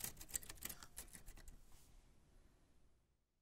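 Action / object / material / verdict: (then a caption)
strike / metal portable typewriter / metal / none. White-gloved fingertips press the round keys of a black 1940s Smith-Corona portable typewriter with a metal body and paper loaded, making a quick, uneven run of sharp, bright key clicks and typebar strikes. The strikes come close together for about a second and a half, then the sound thins into faint clicks and fades to near silence.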